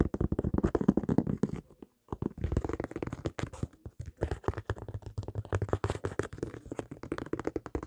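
Fingertips and nails tap rapidly on the textured rubber sole of a single white high-top sneaker held up facing the microphone. The dry, dull, low-pitched taps come in dense bursts with a short pause near the two-second mark, and each tap dies away almost at once.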